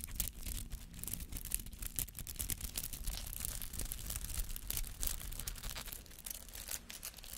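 A palm-sized, white-green artificial flower made of rubber, with many soft spiky petals, is held in the hand and scratched with fingernails. Dense, rapid, bright scratching and crackling runs continuously for several seconds over a low, steady rumble.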